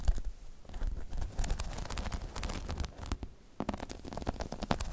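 Long chrome-painted nails scratch and tap over the top of a hollow, spiky rubber half-dome balance pod. The sound is a steady run of soft, dull rustling and scraping with quick, clicky taps scattered throughout. It is mostly low and muffled, with brief bright ticks on the taps and a short quieter dip near the middle.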